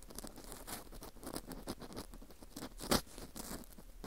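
An orange plastic earpick scrapes downward inside the center hole of a dry, porous slice of dried wheat gluten fu ring. The result is a quiet, continuous patter of fine, crackly scratches and rustles, with one louder, brighter scrape near the three-second mark.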